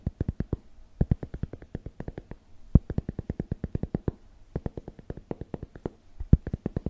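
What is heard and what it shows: A large, flat, round cork board, thin and solid, is held in front of a microphone and tapped and scratched rapidly with the fingertips. About 49 quick, dry, low thuds come in fast bursts with brief pauses. Each tap dies away almost instantly, with a soft scratchy texture between them.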